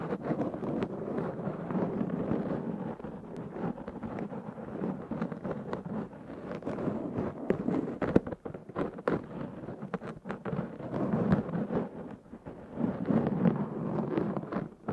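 Fingernails of both hands scratch a black foam windscreen on a Zoom H6 recorder. The result is a dense, continuous, muffled rustling and crackling that sits mostly in the low-mids, with little high end. It swells and eases in waves across the clip.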